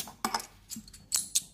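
A silver dollar coin is struck and rings with a bright, high-pitched metallic chime, heard as six short clinks with quick decay. The clear ring confirms the coin is real silver, though its design marks it as a modern imitation.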